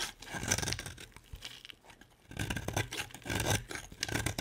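A solid black-and-white striped bar of soap with a red coating is held in the hand and shaved with a utility-knife blade. Dry, scraping, crackly rasps come in bursts, with a quieter lull in the middle before the shaving picks up again.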